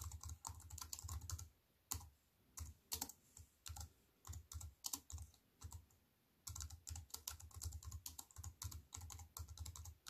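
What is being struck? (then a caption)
Plastic computer keyboard with aluminium frame. Fast typing with fingertips and long white nails on a compact plastic computer keyboard with black plastic keys set in a silver aluminium frame. Rapid bursts of crisp, bright key clicks over a soft low thump, with sparser strokes and short pauses in the middle before steady typing resumes.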